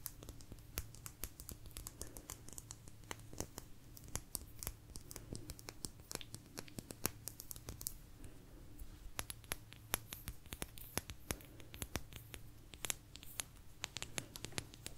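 A small, thin, solid blue agate slice is tapped and scratched with long nails, producing a quiet, steady stream of rapid, sharp clicks and crisp scratches. The sound is bright and dry, and a faint low hum runs underneath throughout.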